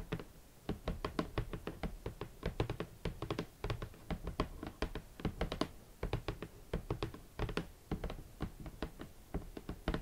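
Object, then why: Closed cardboard shoe box. Long nails and fingertips tap near the top edge of a large, closed, hollow red cardboard Valentino boot box. A steady run of quick, dull, hollow taps, mostly low in tone with a few sharper nail clicks, each dies away almost at once.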